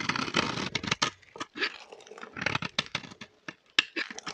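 A metal blade cuts and scrapes chunks from the end of a solid, dry pink bar of soap held in the hand. The result is a run of bright, crisp crunching and scraping strokes. Each stroke ends quickly with almost no ring.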